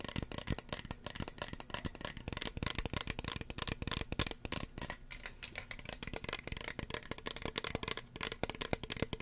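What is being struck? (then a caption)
Plastic spray bottle. Long fingernails tap rapidly and continuously on a small, hollow red plastic spray bottle with a white cap. The sound is a dense stream of sharp, dry clicks with a bright edge and a slight low thump beneath, each tap dying away almost instantly. It briefly thins to softer, sparser taps in the middle before picking up again.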